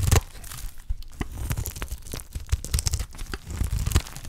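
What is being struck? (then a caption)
Bar of olive soap cut with a blade. A utility knife blade cuts into the edge of a solid, dry green olive soap bar, shaving it into layered curls and flakes. It makes a rapid series of crisp, dry crunching and tearing scrapes with sharp bright ticks over a low, thumpy body. The curls and flakes peel away one after another.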